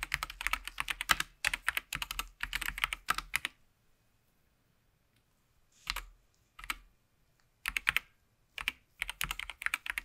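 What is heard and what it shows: A SteelSeries Apex Pro TKL mechanical gaming keyboard with RGB backlight on and plastic keycaps lies flat in dim light as gloved fingertips type rapidly on the keys. Bursts of bright, sharp clicks come in several quick runs separated by short pauses, with a longer quiet gap in the middle.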